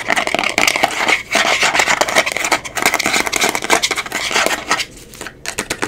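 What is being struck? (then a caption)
Small glass jar with plastic screw lid. Long pink acrylic nails rapidly tap and scratch the black plastic screw lid and sides of a small, round amber glass cosmetic jar labeled "Miracle Melt," which is closed and likely full. The result is a fast, irregular stream of crisp clicks and bright, scratchy rasps with almost no low end, briefly quieting near the end before the tapping resumes.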